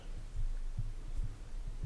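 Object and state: Nothing is struck.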